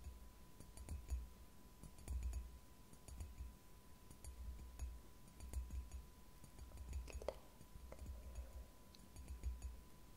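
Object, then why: Ceramic mug. Long painted nails tap and scratch the outer wall of a white ceramic "Relax-Tasse" mug, which is hollow, appears empty, and is held upright in both hands. Quiet, irregular clicks and brief scrapes sit over a soft low rumble, with a faint steady tone in the background. One tap near the end rings slightly brighter and longer than the rest.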